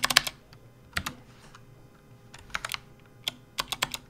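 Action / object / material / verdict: tap / plastic computer keyboard / plastic / none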